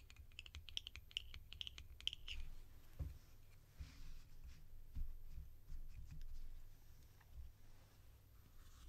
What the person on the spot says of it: These lids make delicious tapping sounds.